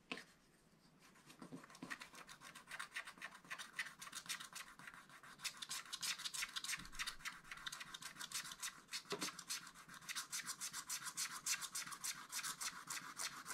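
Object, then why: Scratch art paper card with wooden stylus. A wooden stylus scratches away the remaining black coating in the lower area of a scratch art page, in a small spiral pad held flat. Quick, fairly rapid scratch strokes come in a steady stream. The sound is bright and raspy, with little low end.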